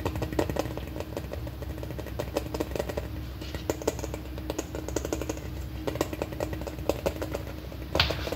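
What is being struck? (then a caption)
Large plastic candy container. A large, hollow, red plastic M&M-shaped candy holder, about the size of a ball, is held in both hands and tapped quickly with long painted nails. Rapid, light, clicky taps run continuously over a low, steady hum. Occasional louder, sharper strikes stand out, with a brighter burst near the end.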